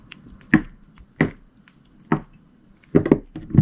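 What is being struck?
Glycerin soap bar cut with a knife blade.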